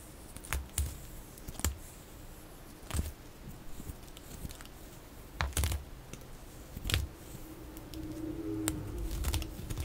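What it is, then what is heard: Bar soap being cut. A metal utility-knife blade cuts curved slices from the edge of a solid oval white bar of soap embossed "SAVE," held in the hand, with the sound sped up to double speed. Short, crisp scraping snaps with bright edges and soft low thumps come at irregular intervals over a steady low hiss.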